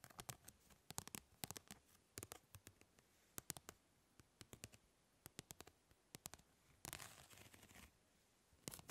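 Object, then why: Plastic grid-mesh fly swatter. Long nails scratch across the grid of a plastic mesh fly swatter, making quick, bright, clicky scrapes in irregular bursts. A longer, continuous rasp runs for about a second near the end before a few final flicks. The sound is quiet and dry, with each tick dying away almost instantly.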